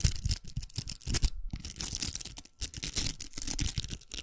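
Long nails scratch the outer velcro of a large, hollow, pink plastic velcro hair roller held up close. The sound is a quick run of dry, bright, crackly rasps with soft low thumps under them. It breaks off briefly twice before starting again.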